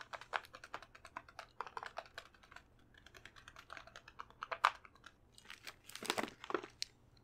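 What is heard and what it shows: A full, medium plastic bag of Lindor chocolates is held in one hand and tapped with long painted nails on its front and back. The result is a quiet, rapid run of dry, clicky taps with bright plastic crinkle and almost no ring. A few louder crinkling bursts come near the end.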